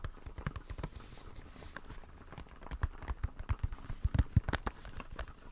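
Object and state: Plastic blister pack tapped and scratched.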